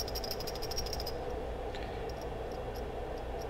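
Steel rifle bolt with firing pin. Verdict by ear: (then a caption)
Free-moving. A steel AK-47 rifle bolt, with its firing pin reinstalled and the retaining pin worked in, is shaken, producing a quick series of light metallic rattles in the first second, then sparser ticks over a steady low background hum. The rattle shows the firing pin floats freely in the bolt, which is the desired state.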